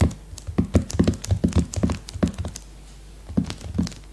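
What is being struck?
Cellophane-wrapped hardcover notebook.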